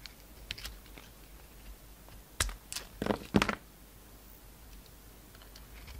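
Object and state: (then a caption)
Bar soap being sliced. A solid coral and white bar of soap with a dark glitter rim, held in the palm, is sliced and shaved with a utility knife blade. Against a quiet background, a few soft scrapes come first, then a sharp cut and a cluster of crisp, crunchy shaving strokes around the middle of the clip.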